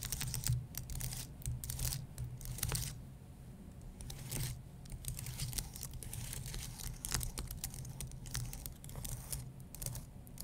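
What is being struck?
Aluminum and plastic computer keyboard.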